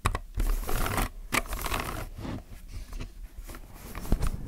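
Fingertips type on a plastic mechanical keyboard, producing a quick run of clacky keystrokes with a thick, low thump and brief bright clicks. The presses blur into a busy, scratchy patter with little ring after each hit.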